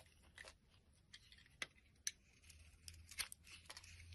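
A blade shaves curled flakes off a solid light-green bar of soap held in the hand. Quiet, crisp, bright scraping cuts come at an irregular pace, with a few sharper clicks standing out over a faint low hum.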